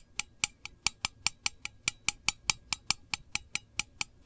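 Long nails tap the lid of a small, round, hollow printed metal candle tin, making 20 sharp, bright clicks with almost no ring. The taps come at a steady but slightly uneven pace, about two per second.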